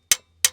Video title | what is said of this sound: Will it START? V12 Supercharged 2 Stroke GM Detroit Dump Truck SITTING for YEARS | it's a different sound a springing bouncing